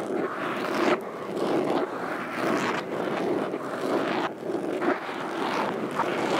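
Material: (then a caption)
Foam. Metal fingerpicks worn on both hands tap and scratch the surface of a large black foam windscreen covering a standing microphone. A dense, continuous scratchy rustle centered in the low midrange swells and dips in uneven bursts about once a second, with no clearly separated hits.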